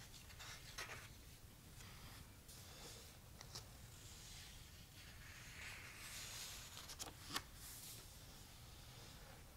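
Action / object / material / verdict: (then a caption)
scrape / paper pages of a paperback book / paper / none. Fingertips with short painted nails trace and rub across the printed, uncoated paper page of a thick paperback book lying open on a black cloth. Quiet, airy scratching and brushing hisses come and go over a low background rumble, with a sharp papery scrape near the end.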